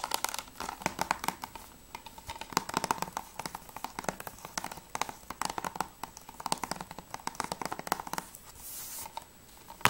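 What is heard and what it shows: Long nails tap fast on the top edge and front cover of a closed, hollow plastic PS3 game case for Journey. The result is a dense stream of sharp, dry clicks with a hollow plastic tone centered near 1 kHz and short bright edges. Near the end the taps briefly give way to a soft, bright scraping hiss before one last click.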